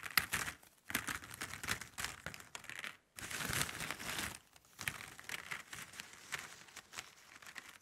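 Long nails and fingertips scratch a pile of hollow plastic drinking straws on a table, then lift and shuffle them. The result is bright, crinkly clicking and rattling in dense bursts, with brief silent gaps between the handfuls of activity.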